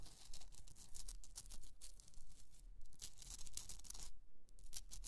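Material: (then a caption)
Rock salt. Long nails scratch and tap the top and sides of a rough, hollowed pink Himalayan rock-salt candle holder resting on fur. The result is a steady run of bright, raspy scratching strokes that come in fairly regular bursts, with a faint low hum underneath.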